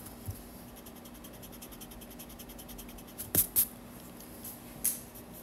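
A yellow graphite pencil scratches sketch strokes of a figure outline on a white paper page in a spiral-bound sketchbook. Quiet, soft scratching runs under a steady low hum, broken by a few louder, bright scraping strokes near the end.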